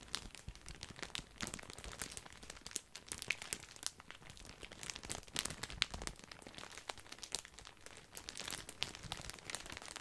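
A large, full, white printed plastic bag of grissini breadsticks is crinkled and squeezed with the fingertips. The result is a continuous stream of dense, bright crackling and crinkling with sharp, short-lived snaps and little low-end body.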